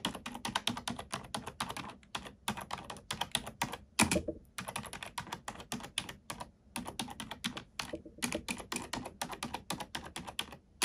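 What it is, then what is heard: Plastic computer keyboard. A black plastic computer keyboard is typed on rapidly with the fingertips and long nails of both hands. The result is a steady stream of short, bright clicks and taps that are closely spaced, with brief pauses between bursts. One slightly heavier thunk is heard around the four-second mark.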